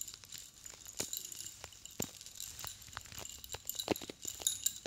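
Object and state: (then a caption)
Metal spike chain necklace. A silver metal chain necklace with many long metal cone spikes is held up in both hands and shaken while fingertips and long blue nails tap the spikes. It makes a quiet run of many quick, bright metallic clinks and jingles that die away almost at once, over a faint steady hiss.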